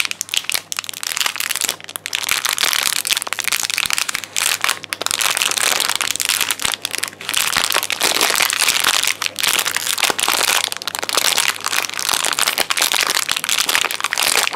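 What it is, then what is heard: Foil candy wrapper crinkling. A small, thin, shiny blue foil-plastic Walnut Whip chocolate wrapper is crinkled and squeezed between the fingertips. The result is a continuous, dense, bright crackling and crinkling, concentrated mostly above 2 kHz and almost entirely lacking low end, with rapid sharp snaps layered throughout.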